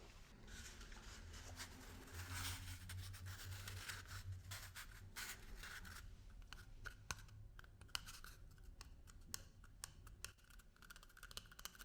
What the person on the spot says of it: 19:14 トイレペーパーロールタッピング